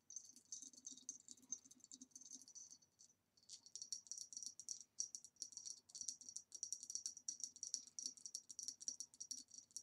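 Long nails tap quickly on the base and sides of a hollow green ribbed glass vase standing upside down. The result is a dense, rattling stream of bright, clicky taps with a steady high glassy ring underneath, broken by a brief pause near the three-second mark. Each tap dies away almost instantly.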